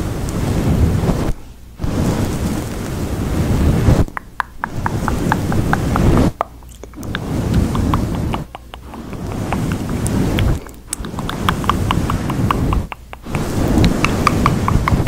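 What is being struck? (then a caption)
Synthetic fur microphone windscreen. Fingertips of both hands rub and press a grey, fluffy synthetic-fur windscreen covering a microphone. It makes a loud, dense, low rumbling rustle, with small bright crackles and ticks scattered through it. The rubbing stops briefly every two seconds or so, leaving short near-silent gaps before it resumes.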